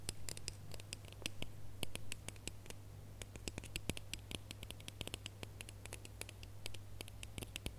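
Fingernails scratch and tap the ribbed surface of a small red, hollow, ribbed plastic Christmas bauble with a gold cap, held in the fingers. A rapid, uneven series of sharp, bright clicks and scratchy ticks sits over a steady low hum, each tap dying away almost instantly.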